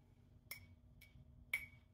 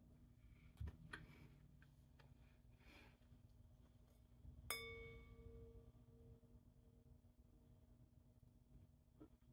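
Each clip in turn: First: ordinary glass, not crystal (no ring). Second: lead crystal glass with a full ring.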